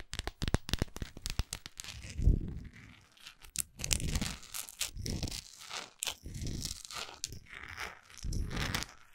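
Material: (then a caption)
Wax. Long acrylic nails tap and scratch the top and side of a large, solid orange wax pillar candle. A run of quick, sharp clicks in the first two seconds gives way to longer, bursty scratching strokes. The strokes have a dull low body and a dry, crinkly upper edge.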